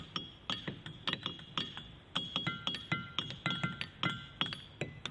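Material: Diabase.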